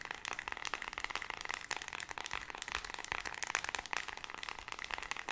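Long red nails tap and scratch rapidly across a small flat white plastic infrared LED remote control with colored rubber buttons, held close in both hands. The sound is a dense, fast stream of sharp, dry clicks and scratchy crackles, bright and thin with almost no low end, each tap dying away instantly.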